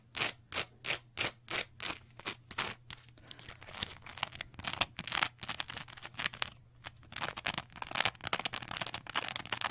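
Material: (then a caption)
Cellulose sponge. A small green textured cellulose sponge, held close, is scratched and squeezed with long nails. Bright, crinkly crunching scrapes come first as evenly spaced strokes, then as a denser, irregular run of scratches over a faint steady low hum.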